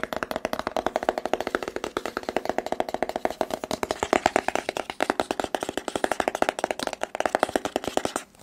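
Fingertips and nails rapidly tap and scratch a hollow white rigid cardboard phone box with a printed front. About 66 quick, dry, hollow clicks follow one another with almost no ring, carrying a papery midrange tone. The rapid tapping continues steadily until it stops abruptly at the end.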